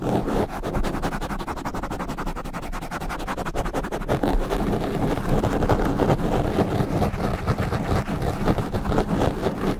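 Fingertips and nails of both hands rub and scratch fast at a soft, porous black foam windscreen on a standing microphone. The result is a dense, rapid, irregular run of muffled scratching, heavy in low rumbling thumps with little brightness. It holds a steady level throughout and grows slightly louder toward the end.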